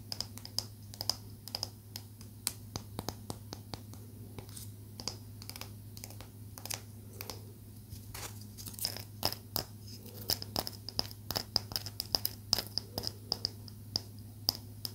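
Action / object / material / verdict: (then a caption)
tap / small palo santo wood stick tapped and scratched with fingernails / wood / none. A small solid stick of pale palo santo wood, held in both hands, is tapped and scratched with long manicured acrylic nails. Dense, crisp, dry clicks and scratches with a bright edge and almost no ring sound over a steady low hum.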